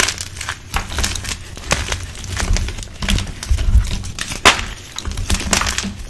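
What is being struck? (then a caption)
Blocks of gym chalk (magnesium carbonate). Bare hands with red-painted fingernails squeeze and crush solid, dusty blue-dyed gym chalk (magnesium carbonate) blocks in a dark bucket, breaking them into crumbly chunks and powder. Dense, dry crunching and crumbling runs throughout, with sharp, bright snaps and soft low thuds as pieces give way.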